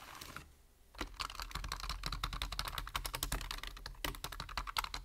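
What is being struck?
Plastic computer keyboard.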